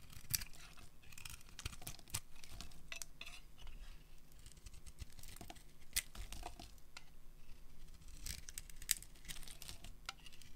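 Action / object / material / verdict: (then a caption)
scrape / soap bar shaved with a blade / soap / none. A solid, hand-sized pink bar of dry soap is shaved with a metal utility blade, curling off thin shavings that fall onto a pile of shavings below. The sound is a steady run of dry, crisp scraping and crackling strokes with bright, high edges over a soft low rumble, each stroke dying away almost instantly.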